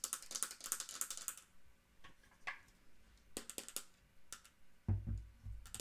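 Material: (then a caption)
Wood. A small dark wooden mantel clock with a brass-rimmed face, ball feet and a hollow case is held and then set down while long acrylic nails tap and scratch its wooden sides. A quick flurry of bright, crisp clicks fills the first second and a half, followed by sparser separate taps and a low, hollow thump near the end as the clock is set down.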